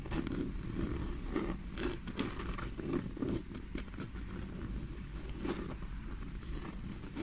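Long fingernails scratch and tap the smooth-grained black leather side of a small black pebbled leather handbag. The result is a steady, dull scraping texture with soft, low taps scattered through it, mostly deep and muffled with very little brightness.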